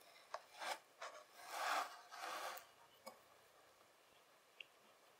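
The tines of a white plastic fork rake and scrape one end of a long, packed strip of beige kinetic sand on a table. Soft, gritty scraping strokes swell and fade, with the longest in the middle, mixed with a few brief light ticks. The sound is quiet and midrange, with a faint bright hiss.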